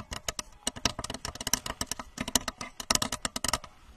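A blue translucent plastic rocket-shaped lamp, about 30 cm tall with a red plastic nose cone and base and seemingly hollow or liquid-filled, is tapped and scratched with long manicured nails on both hands while held in front of the microphone. About 23 quick, dry, clicky taps are heard, bright and crisp with almost no ring, mixed with light scratching.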